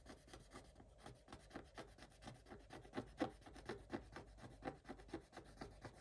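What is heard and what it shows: A wooden stick scrapes the black coating off a Paw Patrol scratch-art page, with a colored layer underneath, in a spiral notebook lying flat on a table. Quiet, dry, rasping strokes repeat in an uneven rhythm, each a short gritty scratch with almost no ring.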